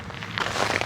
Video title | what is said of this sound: I Didn't Expect to Find This in Iran... 🇮🇷 | crispy it sounds. Salty. It's all salt.